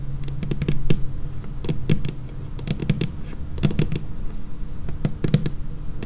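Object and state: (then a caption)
Laminated wooden tabletop. Long painted fingernails of both hands tap a large, flat, solid dark laminated wooden tabletop in quick, irregular clusters. Each tap gives a short, clicky knock with almost no ring, over a steady low hum.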